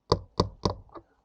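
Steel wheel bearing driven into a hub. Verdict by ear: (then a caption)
Not seated. A new steel rear wheel bearing is hammered into a motorcycle hub through a socket, giving three dull, low knocks followed by a fainter fourth, each dying away almost at once with no ring. The dead sound means the bearing has not yet bottomed out in its seat.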